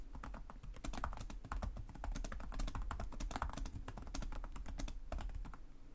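Both hands type rapidly with short-nailed fingertips on the plastic chiclet keys of a black laptop resting on a desk. The result is a dense, steady stream of short, bright key clicks over a low, soft thump from each press.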